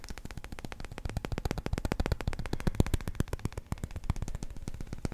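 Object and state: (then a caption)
Resin billiard ball. A small, solid, yellow, numbered resin billiard ball is held in one hand and tapped with the fingertips and nails of the other. A rapid, uneven stream of short, dull clicks comes with almost no ring.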